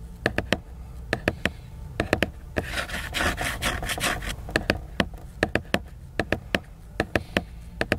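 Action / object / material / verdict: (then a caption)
tap / laminated cardboard hardcover book / cardboard / none. Fingernails tap, scratch and rub the glossy laminated cover of a large, solid, flat cardboard hardcover book. Quick, dry clicks come in clusters, with a steady bright, rasping scratch in the middle of the clip.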